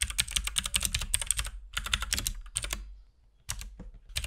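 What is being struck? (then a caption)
Plastic mechanical keyboard. A compact RGB-backlit mechanical keyboard with plastic keycaps and a hollow case is typed on continuously with the fingertips of both hands. Fast, bright, clacky key presses come in bursts with short pauses between them, each click dying away almost instantly over a low hollow thump.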